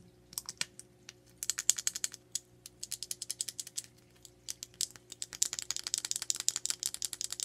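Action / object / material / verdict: tap / small hard plastic makeup case / plastic / none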